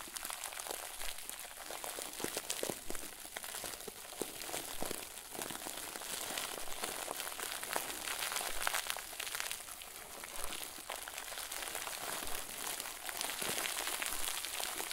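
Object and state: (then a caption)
Plastic bag of soft stuffing being crumpled. A round white plastic bag full of fluffy, soft stuffing is squeezed and crumpled with both hands. It makes a continuous, quiet, bright crinkling rustle with irregular small crackles and little low end throughout the clip.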